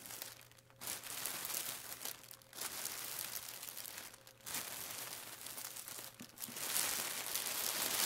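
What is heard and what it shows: Fingertips and palms press, rub and slightly lift the thin film of a flat, layered clear plastic packaging bag with a barcode label lying on a wooden table. Bright, crisp crinkling comes in sustained bursts separated by brief quieter pauses, over a faint steady low hum. The rustling grows slightly louder and denser toward the end.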